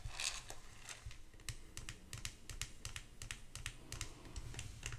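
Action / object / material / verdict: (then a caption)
tap / small glass hand mirror with ornate metal frame / glass, metal / none. Long acrylic nails tap rapidly across a small, solid vintage hand mirror with a glass face and an ornate metal back and handle, held in both hands. The result is a quick, uneven run of sharp, bright clicks, each with a soft low thump underneath and almost no ring.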